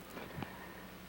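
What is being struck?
Nothing is struck.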